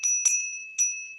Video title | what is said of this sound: HD FAT CHAT ONLY No Swine, Vipers, or Bad Apples For The Eyes and Ears of The Spiritual Bride Isreal | Silver has a certain tone to it.